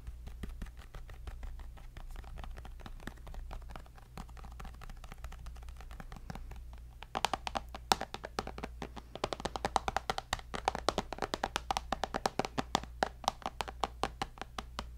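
Fingertips and nails tap rapidly on the glass screen of a tablet held beside the mic. The taps are soft and dense at first, then turn louder, sharper and brighter clicks from about seven seconds on. A steady low hum runs underneath throughout.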